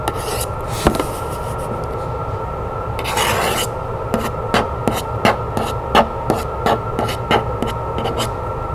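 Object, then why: Printed cardboard box. Long nails scratch and rub the side of a hollow, medium-sized decorated printed cardboard box, giving a dry rasping sound with a louder rubbing swell near the middle. A run of 13 short, sharp taps on the hollow box follows at a quick, uneven pace.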